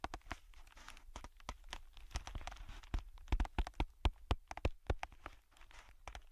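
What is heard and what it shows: Thin, clear plastic bubble packaging film, hollow and light, is held between the fingertips of both hands and crinkled and pressed. A rapid, uneven series of short, sharp snaps and dull low thumps rises over a soft crinkling hiss. The snaps are loudest in the middle of the clip and fade back to quieter crinkling at the end.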